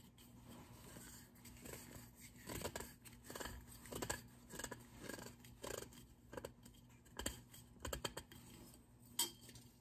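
A small, hollow grey-and-white matte ceramic vase holding dried flowers is held in both hands and tapped and scratched with fingertips and short nails around its body. Soft, dry taps with little ring mix with bright, scratchy rasps over a quiet, steady low hum.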